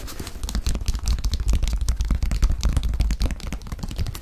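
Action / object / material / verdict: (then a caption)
tap / leather high-top sneaker / leather / none. A single white leather high-top sneaker, hollow and empty, is held up while fingertips tap and scratch its leather upper and heel. A dense, irregular run of quick, dull taps and rough scratching fills the clip, with hollow low thumps and very short, dry transients.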